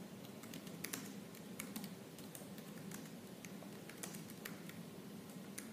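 Fingertips with purple-painted nails type quickly on the black plastic keys of a silver laptop keyboard. Rapid, light, bright clicks and taps sound in an uneven stream over a steady low background hum.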